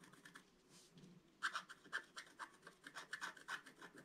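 A wooden stylus scratches leaf shapes into a flat black-coated scratch-art card with repeated strokes. Soft, faint scraping gives way after about a second and a half to louder, dry, raspy scratches, each short stroke centered around 1.5 kHz with a bright hiss on top.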